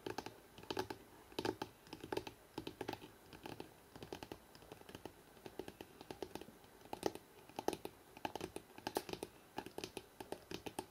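Both hands fast-tap the spine of a thick hardcover book held in the hands, using fingertips and nails. The result is quick, irregular bursts of short, dry clicks and knocks with a hollow tone near 390 Hz, each dying away almost instantly.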